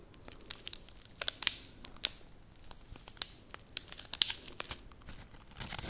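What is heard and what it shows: A large whole onion is held in one hand while fingers rub, scratch and peel its dry papery outer skin. The result is a run of sharp, bright crinkling and tearing crackles with quiet gaps between them, all sitting high in pitch with almost no low end.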